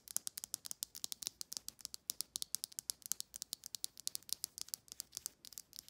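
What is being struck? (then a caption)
Plastic comb brush. Long nails scratch and flick rapidly across the rows of teeth on a black plastic comb-like brush. About 44 sharp, bright, dry clicks follow one another over six seconds, each stopping almost instantly, with nearly all the energy in the high treble and no low end.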